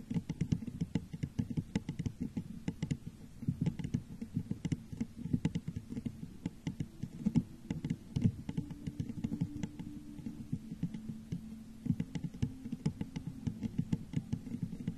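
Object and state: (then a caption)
Glass vase tapped with fingernails. Long nails tap rapidly on the sides of a hollow, textured clear glass vase set upside down over a microphone. The taps are quick, dense and soft, with a muffled low body, bright clicky tips and almost no ring, keeping a steady patter throughout.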